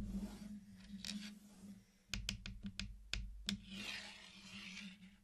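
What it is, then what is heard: Hard-shelled chocolate candies tapped. Fingertips tap and knock on a flat hexagonal mosaic of small, solid, round, colorful sugar-shelled chocolate candies laid on a dark surface. A quick run of short, dry, clicky taps with a bright edge sits between softer scratchy rustling, over a low steady hum.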